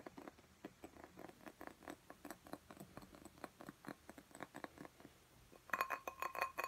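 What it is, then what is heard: Glass tumbler filled with soil. A small clear drinking glass filled with soil and a small cactus is held in one hand and tapped quickly on its side with the fingertips and nails, giving about 29 short, dry glassy clinks. The taps are soft and even at first. Over the last second they turn louder and denser, with a brief clear ring near 1 kHz.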